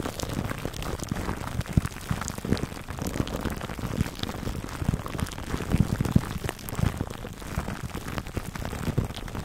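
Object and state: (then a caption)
Cling wrap over foam mic cover, scratched. Fingertips scratch clear plastic cling film wrapped over a black foam microphone windscreen. It makes a dense, steady crackling rustle that is heavy in the low end, with short sharp pops scattered throughout, sounding much like rain pattering on a surface.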